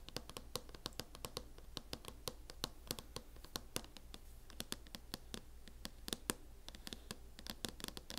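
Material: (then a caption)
Plastic. Long nails tap and scratch rapidly and irregularly across the lid of a closed MacBook in a teal matte plastic hard-shell case. The result is dozens of sharp, dry clicks that die away almost instantly, with light scratching between them over a steady low hum.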